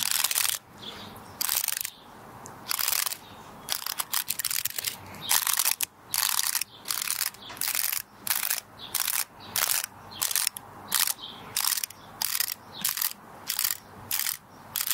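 Long red nails flick and scratch along the woody scales of a small, solid, dry brown pinecone held in both hands. The result is bursts of bright, dry, ratchet-like clicking with almost no low end, separated by short quiet gaps.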